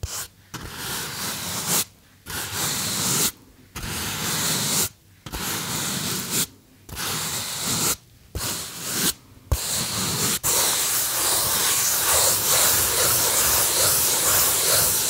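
Fingertips rub and squeeze the surface of a small white polystyrene foam box held in both hands, giving bright, hissy, squeaky scraping bursts broken by short silent pauses. About nine bursts come through in the first ten seconds, then the rubbing runs on without a break to the end.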